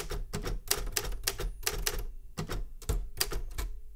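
Fingertips tap the keys of a Remington Super Riter metal manual typewriter. Crisp, bright clacks with a low thump come in a quick, uneven run, pause briefly after about two seconds, then resume. Each strike rings only briefly, with a faint tone near 400 Hz beneath the taps.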